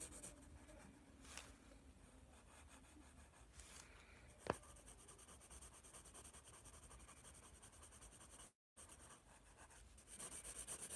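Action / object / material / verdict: scrape / graphite pencil on a paper sketchbook / paper / none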